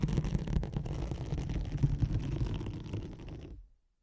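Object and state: Nylon hook-and-loop sheet being scratched.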